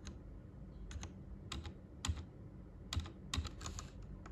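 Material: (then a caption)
Plastic. Fingertips type on a white plastic Royal Kludge RK98 mechanical keyboard with its backlight turned off. Short, irregularly spaced keystrokes give crisp, bright clacks over a soft low thump, each dying away almost instantly. A steady low hum sits underneath the typing.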